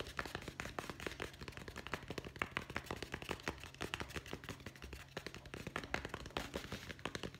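A solid hardcover guest book with a board cover and gold lettering, held in both hands, is tapped rapidly with the fingertips on its cover and edges. The result is a dense, continuous stream of short, dry, crisp taps with bright clicky tops, over a steady low hum.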